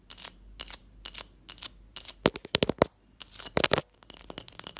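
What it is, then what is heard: Ice block. Long fingernails and fingertips tap and scratch a large, solid block of clear ice resting on a teal cloth. Short, bright scratching strokes alternate with quick, sharp, dry taps that stop instantly, with brief quiet gaps in between.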